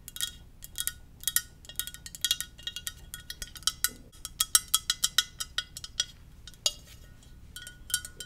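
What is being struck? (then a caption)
Ceramic mug. A Darth Vader ceramic mug is tapped gently in a quick, uneven series of light taps. Each tap gives a bright, high-pitched clink that dies away almost at once, over a quiet background.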